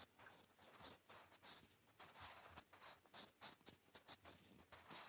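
A blue wooden graphite pencil scratches across a flat grey lined notebook page while writing Korean. The result is quiet, bright, papery scratching in short repeated strokes with brief pauses between them.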